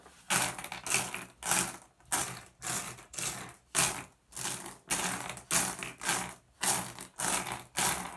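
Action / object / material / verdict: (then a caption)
scrape / small flat glass gem pebbles on a wooden surface / glass / none. Fingertips rake and shuffle a pile of small, solid, blue iridescent flat glass gems on a wooden surface. The result is a steady run of bright, crisp clattering bursts, each a dense rattle of glassy clicks. They come about every half second with short quiet gaps between, and there is little low end.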